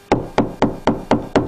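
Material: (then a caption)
Drywall. Six knocks on a drywall wall, each a short, hollow thud centered around 290 Hz that fades within about a tenth of a second. The wall sounds hollow here, between the studs, past the solid spot, so the stud must lie in between.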